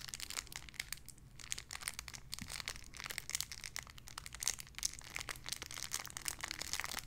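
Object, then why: Thin plastic bag holding a soft squishy toy. A small clear plastic bag holding a white-and-pink squishy toy is crinkled and squeezed with fingertips and long nails. Dense, bright crackling fills the clip in quick, overlapping bursts over a faint low hum.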